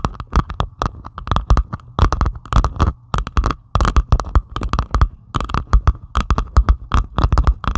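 Long pointed acrylic nails scratch rapidly across a flat diamond painting of plastic resin drills on canvas. A dense run of short, dry scratching bursts comes in quick clusters, with a thumpy low body and a faint mid-range rasp under each stroke.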